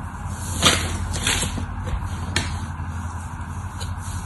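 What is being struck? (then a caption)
Bar of soap cut with a metal blade. A hand-sized, solid cream-colored bar of dry soap, held in one hand with long orange nails, is scraped and carved with a metal utility knife blade as flakes fall away. Two sharper, bright scraping strokes stand out over softer, hissy carving sounds. A steady low hum runs underneath throughout.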